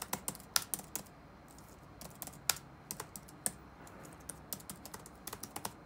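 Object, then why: Plastic laptop keyboard. Fingertips type rapid key taps on the black plastic keys of an open laptop resting on a wooden desk. About twenty short, bright clicks come in an irregular rhythm, each dying away almost at once over a quiet background.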